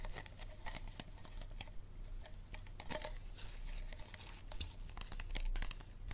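Fingers squeeze, scratch and tap the ridged walls of an empty, hollow, clear thin plastic water bottle with a green cap. The result is a dense run of quick, close-up crinkles and light taps with a steady low hum underneath.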